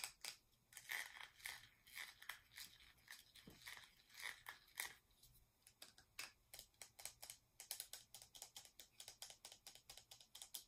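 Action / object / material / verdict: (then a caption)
tap / small plastic cosmetic jar with metallic finish / plastic / none. Long nails tap quickly on the lid and sides of a small round plastic cosmetic jar with a metallic finish, held in both hands. Several dozen sharp, bright clicks come in a steady run over about eleven seconds, each fading almost at once with a crisp, high-pitched tick.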